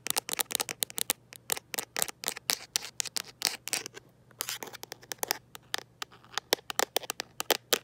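Long nails capped with gold paper clips tap and scratch the flat back of a teal plastic/rubber phone case. Dozens of rapid, crisp, bright clicks and short scrapes come in quick bursts, each dying away almost at once, over a faint steady low hum.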